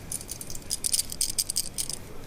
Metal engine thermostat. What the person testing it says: if you shake it it rattles so I definitely think this was broken